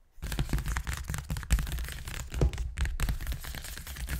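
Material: Paper.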